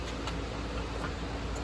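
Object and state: Nothing is struck.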